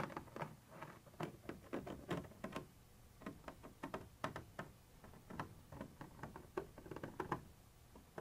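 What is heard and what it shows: A thin metal pointer tip rapidly taps and scratches a white translucent textured plastic surface. It makes a quiet, uneven patter of short, dry clicks and scratchy ticks that stop almost instantly, with faint soft scraping between the taps.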